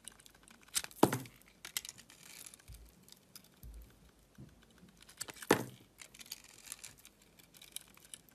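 A utility-knife blade slices and scrapes through the crusty surface of a solid oval soap bar, coated in green sugar-like crystals with a pink interior, held in the hand. Two sharp, bright crunching cuts stand out, surrounded by quieter crackles and gritty scraping. The crystal coating gives a dry, crisp crunch with very little ring.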